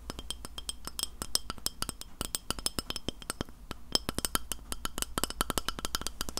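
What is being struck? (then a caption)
Glass plate. Fingernails tap rapidly and irregularly on a glass plate, making a steady stream of crisp, high clinking ticks. Each hit dies away almost at once, over a faint low background hum.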